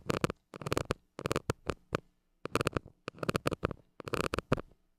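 A flat white plastic stick scratches the hollow metal mesh grille of a small gold mini microphone. The result is a series of quick, rough scratching bursts in short clusters with brief silences between them. The bursts are broadband and bright with a low, steady hum underneath.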